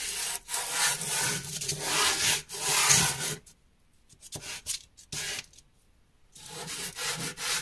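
A small, solid dark grey chunk of drawing carbon, held in the hand, is rubbed firmly across a powder-covered cloth or canvas sheet to draw thick black lines. It makes a bright, continuous scraping rub. Long strokes give way to a near-silent stretch broken by a few short scrapes, then the rubbing resumes.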